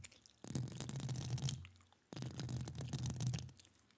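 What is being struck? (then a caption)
Metal mesh microphone grille. Long acrylic nail tips scratch and tap rapidly across the hollow metal mesh grille of a studio microphone in two dense bursts. Each burst carries a deep, boomy rumble underneath crisp, bright clicks and scrapes, then stops abruptly before the next begins.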